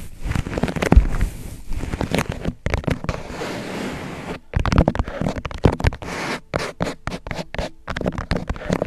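An empty, thin-walled white disposable paper cup with a drawn face rests upside down over the microphone while fingertips tap and scratch its sides. Rapid, muffled thumps and rustling scratches come in bursts separated by brief silences, with the sound heavy in the low end and very little brightness.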